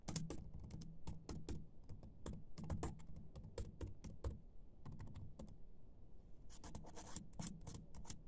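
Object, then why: Plastic laptop keyboard keys. Fingertips and short nails type and tap on a laptop keyboard with black plastic keys, making a quick run of light, crisp clicks with dull low thumps beneath. The clicks come in irregular bursts, thin out to a brief lull just before the six-second mark, then pick up again until the end.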